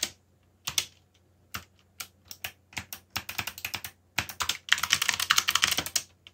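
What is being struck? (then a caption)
Mechanical computer keyboard with plastic keycaps. Fingertips type on a backlit mechanical computer keyboard with plastic keycaps, producing sharp, bright clicks. The keystrokes start sparse and irregular, pick up into quicker runs, and build to a dense flurry of rapid clicks before stopping.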